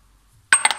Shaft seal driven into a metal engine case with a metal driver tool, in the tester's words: tu viens en appui tout bêtement et que ça sonne